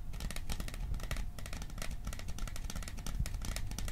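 A small metal popcorn container is tapped in a dense, steady stream of quick, dry ticks, some faster and some slower, with no talking. Each tap is short and clicky, with little ring, over a heavy low thump and bright sparkle on top.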